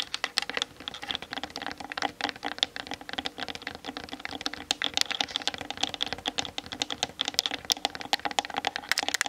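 Long fingernails tap rapidly on the sides and top of a Canon DSLR's hollow plastic body. The result is a dense, continuous patter of short, bright, dry clicks with almost no low end and a faint hollow ring beneath them.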